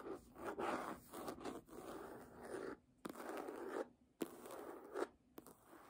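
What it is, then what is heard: Hardcover book scratched with nails. Long nails scratch the page edges and embossed cover of a red hardcover book lying flat. The result is dry, rasping scrapes, mostly in the low-mid to mid range with a bright papery hiss, coming in sustained bursts separated by short quiet pauses.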